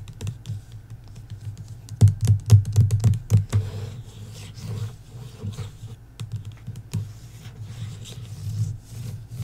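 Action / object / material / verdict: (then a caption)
tap / hardcover book with paper dust jacket / cardboard and paper / none. Long acrylic nails and fingertips tap and scratch the front cover of the hardcover novel "Belladonna" in its glossy paper dust jacket, lying flat on a wooden table. Quick, sharp taps come loudest in a cluster between about 2 and 3.5 seconds. Softer scratching and scattered taps follow, all over a steady low hum.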